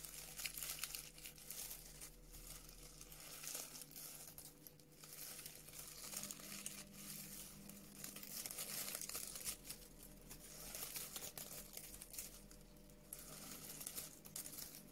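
A sheet of brown honeycomb-cut kraft paper packaging wrap, held in both hands, is crinkled and scratched with long nails. The result is continuous dense, crisp crinkling and scratching, bright in the high frequencies, with a steady low hum beneath.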